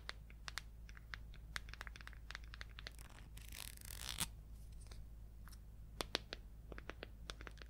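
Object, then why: Small plastic paint jar with screw lid. Long acrylic nails tap and scratch the lid and body of a small red plastic paint jar with an orange screw lid. Quick, bright, dry clicks are scattered throughout, with a longer rasping scratch in the middle, over a steady low hum.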